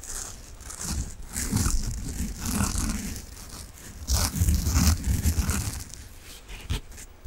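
A large, soft, peach-coloured foam sponge, solid and squishy, is held in both hands and scratched with fingertips and nails. The result is a rapid, uneven run of dull, low rubbing thuds layered with dry, bright scratchy rustling, swelling in louder bursts and easing off between them.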